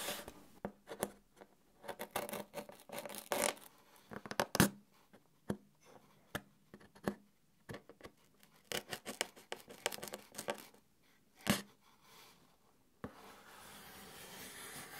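A knife blade scratches and rubs along the side of a long, hollow corrugated cardboard box held at an angle. The result is an uneven series of dry, papery scrapes and sharp scratches with a faint low hum underneath. At about 13 seconds the scratching stops and a steady soft hiss takes over.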